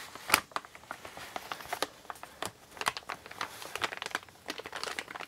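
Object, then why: Kraft paper mailer bag. A large, empty, brown kraft-paper Amazon mailer bag made of recycled paper lies flat and already creased on a wooden table while fingertips with painted nails grip its edge and crumple it. A dense stream of dry, bright crinkles and crackles follows, each snap short and sharp with no ring and almost no low end. A few louder crunches stand out near the start and middle.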